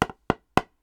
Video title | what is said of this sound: 😮 Tested 30+ Foam Paddles: Most Underrated Paddle 2025 Review🐊 GatorStrike Armor? 👀 -🚨 Luzz Inferno🔥 | you get this really like intense hollow thump